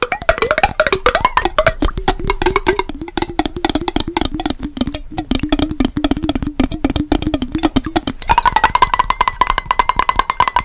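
A small clear glass mason jar with a yellow-banded lid, partly filled with blue-tinted water, is held in both hands and tapped quickly with fingernails on the glass body. The result is a dense run of short, clicky taps over a wavering, hollow low tone. Near the end, the taps shift to a brighter, higher ringing pitch around 1 kHz.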